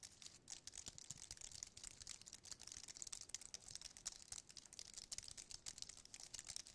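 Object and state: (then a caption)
Aluminium and plastic keyboard being tapped. Fingertips tap and type on a slim white wireless keyboard with plastic keys on an aluminium base, held in the hand. A quiet, steady run of rapid, crisp clicks with a bright, crinkly texture, very little low end and no ring after each tap.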